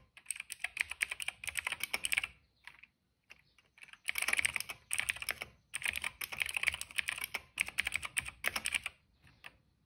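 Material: Plastic.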